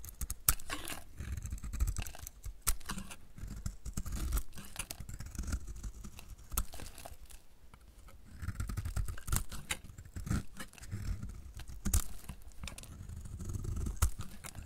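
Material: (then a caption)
Soap. A hand-sized solid dry bar of soap, painted magenta over a grey-green coat and held in the hand, is shaved with a utility knife blade, and curls fall off. Many quick, dry scraping and crackling cuts follow one another with a low, muffled body, broken by brief sharp clicks and short quieter gaps.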